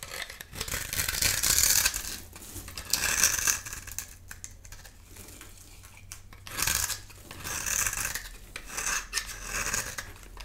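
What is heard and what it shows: A solid rectangular cream-colored dry bar of soap held in the palm is scraped and carved with a metal utility knife blade, producing crumbly flakes. Bursts of bright, dry rasping and scratching rise and fall in uneven strokes, with quieter crackly scraping between them.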